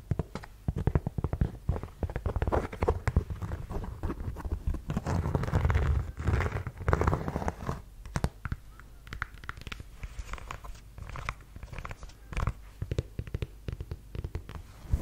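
A black suede ankle boot with a hard block heel is tapped and scratched with long yellow nails on the heel and across the suede. Quick, dry taps and rough scratching come in dense, uneven bursts, mostly low and muffled with little brightness, and a thicker stretch of rustling scratches builds up around the middle.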